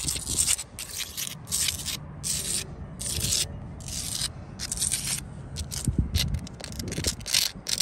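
Long acrylic nails and fingertips scratch and tap across an outdoor wall of solid, rough brown sandstone blocks with mortar. Repeated bursts of bright, gritty scraping alternate with short pauses, over a soft low rumble and occasional duller taps.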